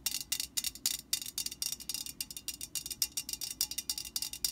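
A Static Guard aerosol can, a hollow metal can standing upright, is tapped and scratched on its printed side with long painted nails of both hands. A rapid, irregular stream of bright, high, crisp clicks and scratchy bursts follows, each dying away almost instantly, with almost no low end.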